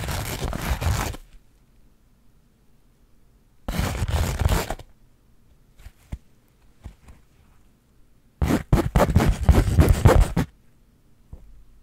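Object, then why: Burlap fabric pouch. Long acrylic nails scratch across the coarse woven surface of a flat linen/burlap pouch held in both hands. Three bursts of dense, broad rasping scratches are heard, separated by quiet pauses with only a few faint isolated ticks.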